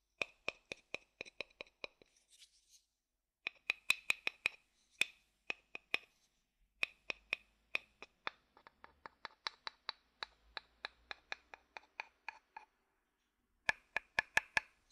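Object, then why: Wooden bowl tapped with a wooden stick. A thin wooden stick taps and knocks the outer base of a hollow wooden bowl held upside down. About 43 short, dry, bright clicks come in quick rhythmic runs separated by brief pauses, with a faint scratchy rustle early on. Each knock has a hollow tone near 2.5 kHz and dies away almost instantly.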